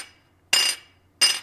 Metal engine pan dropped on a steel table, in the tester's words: if you just drop it you can hear how tingy it is now when these things are cracked it'll just kind of go thud